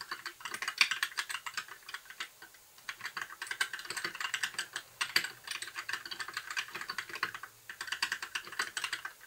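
Both hands type with their fingertips on a compact white backlit plastic mechanical keyboard with a hollow case, resting on a desk. It makes a steady run of quick, bright, clacky key taps that decay almost instantly and carry almost no low end. The typing pauses briefly about two seconds in and again near seven and a half seconds.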